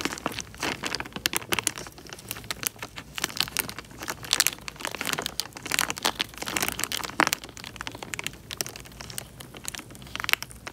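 Fingertips pinch, squeeze and crinkle the thin film of a small clear plastic bag full of water. Dense, bright crinkling and crackling go on throughout, a rapid stream of sharp snaps and ticks with almost no low end. There are short louder bursts in the middle.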